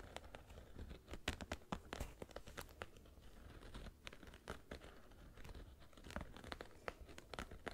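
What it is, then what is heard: Suede sneaker scratched. An empty black suede sneaker is held in one hand while fingernails scratch along the upper and the lace area. The result is a dense run of short, dry scratching and crinkling clicks, some sharp and bright, over a low, steady rumble. The scratches come in uneven bursts, louder near the start and end.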